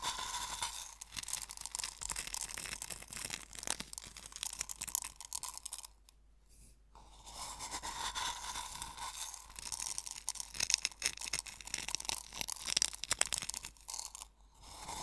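Fingers rub and pinch coarse sea salt crystals in a small hollow wooden bowl partly filled with salt, making dense, bright, gritty crunching and crackling. A brief quiet gap near the middle interrupts the crunching before it resumes.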